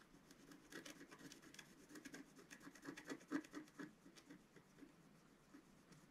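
A wooden stylus scratches lines into the black coating of a flat scratch-art card. Quiet, uneven rasping strokes come about twice a second, with a dry, mid-toned body and bright scratchy edges. They build to their loudest in the middle and then thin out toward the end.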